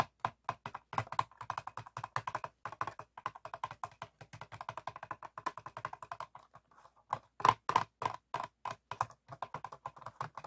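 An empty, clear, ribbed PET plastic water bottle lying hollow on a table is tapped and scratched rapidly with the fingertips and nails of both hands. The result is a fast run of crisp, dry clicks and scrapes with a hollow plastic ring centered near 1 kHz. A short quieter pause comes near the middle, followed by a few louder taps.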